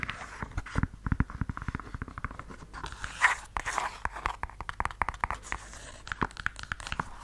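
A red suede stiletto high-heel pump, held upright close to the mic, is scratched and tapped along its suede upper with long yellow nails. A rapid run of short, dry, close-up taps mixes with soft, bright scratching, which swells into a longer rasping stroke around the middle before the quick tapping resumes. Each tap dies away almost at once.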